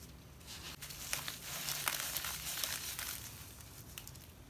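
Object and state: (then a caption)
Damp sand being squeezed. A latex-gloved hand squeezes and crumbles handfuls of loose, damp grey sand, possibly mixed with cement, heaped in a shallow glass bowl, rubbing it between the fingers. The result is a steady, bright, gritty crushing and crinkling with short, sharper crunches scattered throughout and very little low end.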